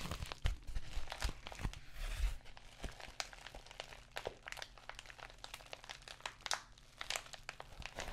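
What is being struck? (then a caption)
Padded plastic bubble mailer envelope. Long nails scratch, tap and crinkle the bubbled plastic of an empty white padded bubble mailer. Dense crackling and crinkling is broken by sharp, bright clicks and taps, each dying away almost at once. Low, soft thumps of handling sit underneath, heaviest in the first few seconds.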